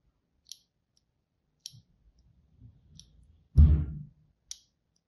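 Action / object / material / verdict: scrape / bar of soap cut with a craft knife blade / soap / none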